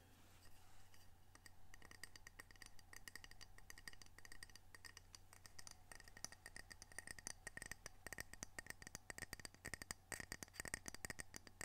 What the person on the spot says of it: Gentle tapping, scratching, and rubbing of ceramic coasters with unique art representing the Pacific Northwest.